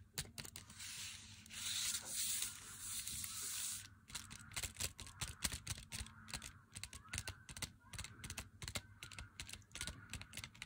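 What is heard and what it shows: Long fingernails scratch and tap the face of a full, glossy cardboard box of Meiji Black chocolate with the bar inside. The first four seconds are a bright, hissy scratching over a low steady hum, followed by a rapid run of sharp, dry taps that ring out almost instantly.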